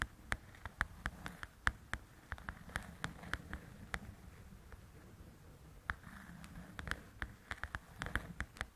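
Long pointed nails tap and scratch on the paper cover of a large, thin paperback coloring book. Sharp, dry taps with a bright click come in irregular bursts over a soft, low scratching rustle, with a quieter stretch of scratching in the middle.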